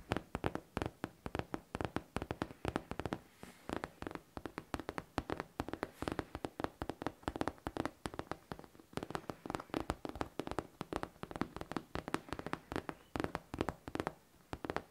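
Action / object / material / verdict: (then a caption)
tap / faux leather backpack / faux leather / none. Long nails tap and scratch across the smooth surface of a hollow pink faux leather backpack. A quick, steady stream of soft, dry taps with almost no ring continues throughout, mixed with light scratching, the sound centered in the mids with a faint low thump.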